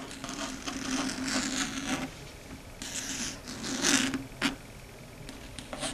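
Long red stiletto nails tap and scratch across a large, flat, dark gray chalkboard. The sound is a series of bright, raspy scraping strokes over a steady low hum, with a few sharp taps standing out toward the end.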